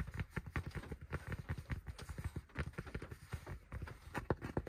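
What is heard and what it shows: Fingertips rapidly tap and scratch the crown of a hollow, dark grey cloth baseball cap with an embroidered logo resting on a lap. The result is a quick, uneven run of soft, dull, low thumps, each dying away almost at once, with faint brushing scratches between them and almost no bright high end.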